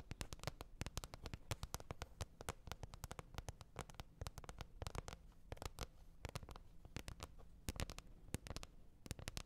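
Long red nails tap rapidly on a green plastic container lid. Dozens of short, dry clicks with bright edges land in quick, irregular bursts over a steady low hum throughout.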